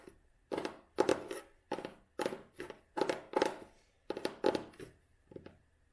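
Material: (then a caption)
Cloth, paper. Fingertips and nails rub and scratch the tan cloth cover and page edges of an old hardcover book with a red spine. The result is a series of short, dry, scratchy bursts, each fading quickly, with most of the energy in the mid-range.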